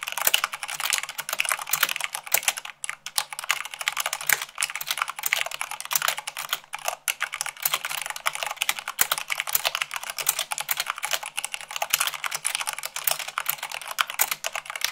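Fast typing with fingertips and long nails on a black plastic mechanical keyboard with white plastic keycaps, at about 98 words per minute. A dense, steady stream of sharp, bright clicks and clacks, each dying away almost instantly, with brief pauses between bursts of keystrokes.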